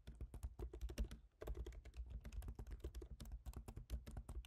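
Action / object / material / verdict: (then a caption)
tap / laptop keyboard, plastic keys in aluminium body / plastic / none. Both hands type rapidly with their fingertips on a MacBook Pro keyboard, its black plastic keycaps set in a silver aluminum body. A quick, steady stream of soft, short key taps carries a low, thumpy body. The typing breaks briefly about a third of the way through before resuming.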